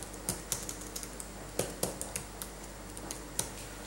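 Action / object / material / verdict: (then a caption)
tap / plastic laptop keyboard keys / plastic / none. Gloved fingertips type and tap on the plastic keys of a backlit laptop keyboard. About 14 light, irregularly spaced clicks are heard, each short and bright, over a quiet, steady low hum.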